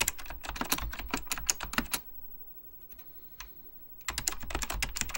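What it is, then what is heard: Plastic mechanical computer keyboard. Fingertips type rapidly on an Apple Extended Keyboard II, a plastic mechanical computer keyboard with beige plastic keycaps and a hollow plastic case. Quick, bright, clacky key taps come in dense bursts, with a near-quiet pause of a couple of seconds broken by a few faint taps. Then the fast typing resumes.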